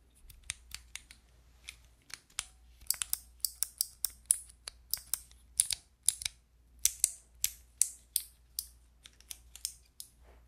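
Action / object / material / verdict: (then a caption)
tap / plastic keycap fidget toy / plastic / none. Long nails press and tap the white plastic keycaps of a handheld fidget toy with a clear plastic frame. About thirty short, bright mechanical clicks sound in an irregular rhythm, each dying almost instantly, over a faint low hum.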